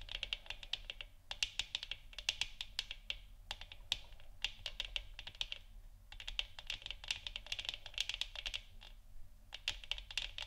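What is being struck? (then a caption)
Plastic moon lamp sphere. Long fingernails on both hands grip the sides of a hollow 3D-printed plastic moon lamp sphere, about 15 cm across, glowing orange on a wooden stand, tapping and scratching it. Short bursts of rapid, bright, dry clicks come in clusters with brief pauses between. A faint low rumble sits underneath.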